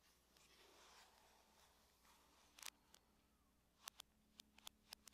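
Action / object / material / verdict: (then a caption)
tap / aluminum laptop lid tapped with fingernails / aluminum / none. Long nails tap the lid of a closed silver aluminum laptop at a moderate rate, producing about ten sharp, bright clicks with almost no ring. A faint, steady low hum sits underneath, with near silence between taps.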